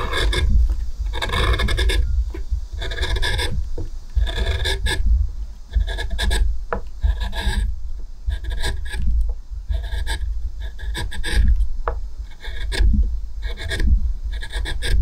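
A hand-held metal spoon gouge scrapes small cuts into the shallow, nearly finished hollow of an oval wooden plate with a few shavings in it. Repeated dry, rasping scrapes come in short bursts with bright edges over a steady deep low rumble. The strokes follow one another closely, with no long pauses.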